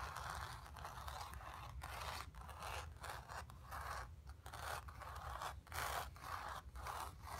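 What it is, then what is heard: Painted stretched canvas being scratched. Long nails on both hands scratch across the surface of a square, acrylic-painted stretched canvas on a wooden frame, hollow behind and resting on carpet. The result is a steady stream of dry, raspy scraping strokes centered in the midrange around 760 Hz, with brief dips between passes and a soft low rumble underneath.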